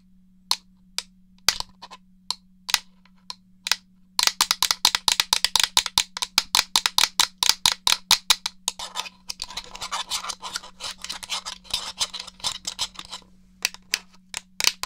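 Fingernails tap and click the buttons of a hollow grey plastic Nintendo 64 controller. Sparse, sharp, bright clicks start the clip, then turn into a dense run of rapid tapping. That run gives way to a scratchy rustle mixed with clicks before the clip thins back to a few taps, all over a faint steady low hum.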